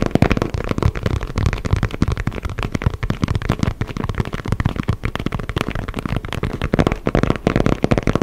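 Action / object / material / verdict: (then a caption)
tap / inflated synthetic leather football / synthetic leather / none. A hollow, inflated synthetic leather soccer ball is held in both hands while fingertips tap and scratch its panels. A dense, rapid stream of dull, low thumps and short scratchy rubs continues steadily, each tap dying away almost instantly with a hollow, drum-like body.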